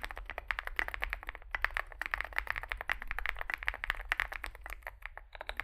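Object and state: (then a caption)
Mechanical keyboard typing. Two hands type rapidly with their fingertips on a Zoom65 65% mechanical keyboard resting on a desk mat. The keyboard has a dark metal case, white and grey SA-profile plastic keycaps and lubed switches. It gives a steady stream of short, dry clacking key taps centered around 1.8 kHz over a faint low hum.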